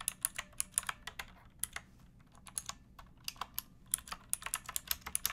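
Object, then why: Mechanical keyboard with plastic keycaps. Fingertips with long nails type on a pink backlit mechanical keyboard with plastic keycaps resting on a wooden block. About 27 quick, bright, clacky keystrokes come in uneven bursts with a brief pause in the middle, each click dying away almost instantly over a soft low background hum.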